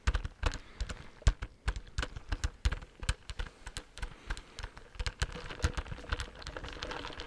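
A medium-size clear plastic Dunkin' Donuts iced coffee cup with lid and straw, hollow and filled with coffee, is held in both hands and tapped with fingertips and short nails. Quick, dry taps come in uneven bursts, each a soft low thud with a brief bright click and almost no ring. Toward the end the tapping thins into a softer, continuous rustle.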